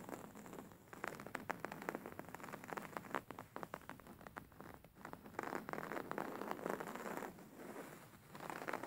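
Fingernails scratch a stuffed, embroidered beige linen-like pillow with stitched square and circle patterns. The result is a soft, dense run of crackly, rustling scratches that come in rapid bursts, concentrated in the midrange with little low end and a faint bright hiss.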